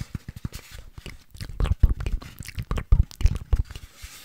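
A medium orange artificial pumpkin with a green stem, apparently solid, lightweight craft foam, is held in both hands and scratched and rubbed with long orange-painted nails close to the microphone. A quick, uneven run of short, dry scratching and rubbing bursts follows, with a dull, low-heavy body, a faint bright hiss and almost no ring after each stroke.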